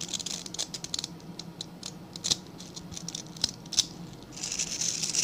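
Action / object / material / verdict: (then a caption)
scrape / stiff-bristled brush / bristle / none. Fingertips and nails scratch and rub along the dense stiff bristles of a small dark-grey rectangular brush. The result is a bright, dry crackling rasp of quick clicks and sharp snaps, with louder bursts near the start and end and a faint low hum underneath.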